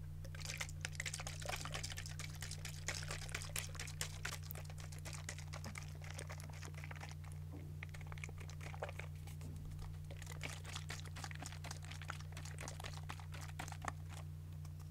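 A partly full white plastic cosmetic toner bottle is tapped and scratched with long nails, giving quick, irregular, bright clicks and scratchy rustles. A steady low hum runs underneath throughout, and the whole clip stays quiet.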